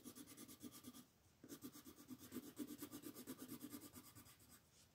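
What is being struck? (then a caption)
Wooden colored pencil on a paper coloring sheet. A pink wooden colored pencil rubs and scratches across a flat white paper mandala sheet on a table in steady shading strokes. It makes a quick, rhythmic papery scratching with a bright hiss, pausing briefly about a second in before the strokes resume.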